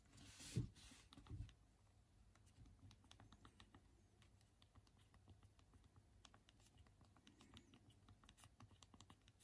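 Two thumbs type on the small hard plastic keys of a handheld BlackBerry phone's physical QWERTY keyboard, the phone held in both hands. A couple of louder clacks open the clip, followed by a steady, quiet stream of soft, irregular, rapid clicks over a low background hum.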